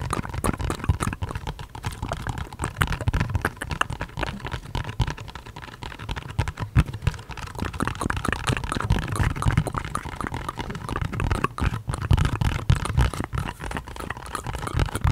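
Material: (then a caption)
Cardboard. Fingertips rapidly tap and scratch a small, hollow-seeming orange printed cardboard product box with a barcode, held in the hands. Dense, fast, dull thumps and scratchy rustles run throughout, with most of the energy low and deep and each tap dying away almost instantly.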